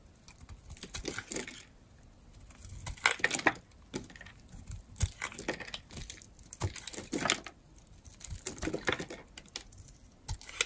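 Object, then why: Bar of soap carved with a metal blade. A metal craft blade scrapes and carves curls off the edge of a solid, dry, rectangular bar of blue-and-white striped soap held in the hand. Crisp, bright, crackly scraping strokes come in short clusters separated by quiet pauses.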